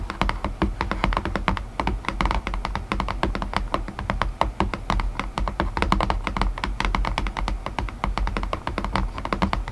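Long nails tap rapidly and continuously on the inner floor of an open, empty white cardboard box tray. The hollow tray gives short, dull thunks with a low boomy body and quick clicky taps that die away fast. The tapping stays steady and even throughout.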